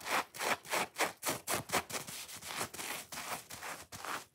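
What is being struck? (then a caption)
Foam kitchen sponge. Fingernails scratch fast along the top scrubbing layer and foam face of a dry-looking, watermelon-shaped foam kitchen sponge held in both hands. The result is a quick run of rough, raspy scraping strokes with a bright, hissy texture and almost no low end. The strokes start as distinct bursts and blur into a steadier scrubbing rasp.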